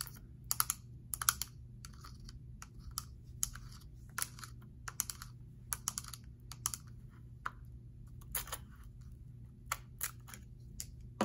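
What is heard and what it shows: Long manicured nails tap and click on the perforated plastic lid of a small round blue plastic gel air freshener container, held in one hand with gel visible inside. Quick, sharp, bright clicks come in irregular bursts, each dying away almost at once, over a steady low hum.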